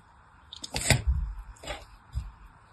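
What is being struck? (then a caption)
Soap bar. A solid, hand-sized pink bar of soap, held in one hand with long white nails, is scored repeatedly with a thin pointed blade, carving a crosshatch of shallow cuts. Each stroke gives a soft, crisp scrape with a bright edge over a dull low thud, and the cuts die away almost at once. The scoring comes in short bursts separated by near-silence.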